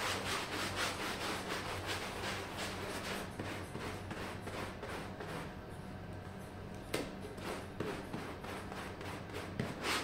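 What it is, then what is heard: Wool pile rug being scrubbed. A red plastic hand brush scrubs a small, wet, foamy, red patterned wool pile rug lying on a mosaic floor. Quick, repeated scrubbing strokes produce a steady, bright, rasping rub with a faint low hum underneath. The strokes ease off slightly in the middle before picking up again.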